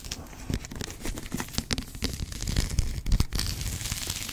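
Long acrylic nails scratch and tap along the ornate gilt-tooled spine of a thick, solid antique hardback with a brown leather cover and red labels, held upright and then sideways. The result is a rapid run of dry, crinkly scratches and short taps with soft, low thumps, each sound dying away almost at once.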